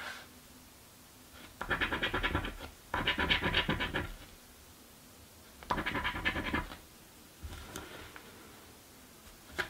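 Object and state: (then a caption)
Paper scratch-off lottery ticket. A coin scratches a thin cardboard crossword scratch-off lottery ticket resting on a wooden table, and a fingertip then rubs over the card. The scratching comes in four bursts of rapid, gritty rasps with a bright, papery edge. Softer rubbing sounds and a sharp tick close out the clip.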